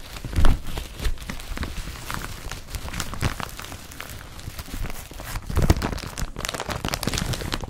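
Both hands scratch and rub the surface of an empty blue woven polypropylene IKEA BRATTBY carrier bag laid flat, using fingertips and nails. The result is a dense, continuous crinkly scraping and rustling, heavy in low rumble, with louder bursts near the start and again past the midpoint.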